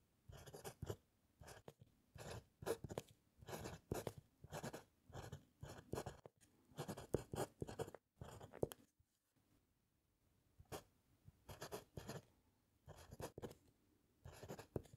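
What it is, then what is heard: Paper on wooden clipboard, pen writing. A fountain pen with a metal nib writes across a white paper sheet clipped to a flat, solid wooden clipboard, scratching the paper in continuous strokes. Quiet, dry scratching comes in short bursts separated by brief pauses, with a longer silence near the middle before the writing resumes.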